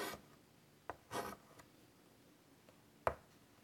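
White chalk scratches curly lines across the surface of a large, flat, wood-framed chalkboard. Four separate strokes are heard: a brief scrape at the start, a sharp tick, a longer bright scratchy drag, and a final sharp tap-like scrape, separated by quiet pauses.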